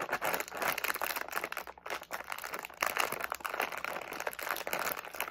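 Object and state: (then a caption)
Plastic candy bag. A medium, flexible plastic SweeTARTS candy pouch with candies inside is held in both hands while fingertips crinkle, squeeze and shake it. The result is a dense, continuous run of sharp crackly crinkles and crunches, bright in the mids and highs with no low end. The sound keeps pulsing in quick bursts for about five seconds, with a brief dip near the middle.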